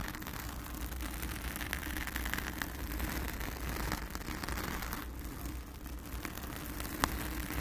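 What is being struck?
Foam microphone windscreen.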